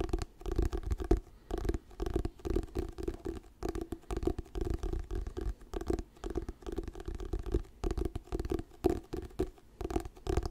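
Fingernails scratch the glossy paper cover of an orange "Diary of a Wimpy Kid" paperback book, held solid in both hands. Quick, dry scratching strokes come in rapid bursts with short pauses between them, with a soft low rumble underneath. Each stroke stops dead with no ring.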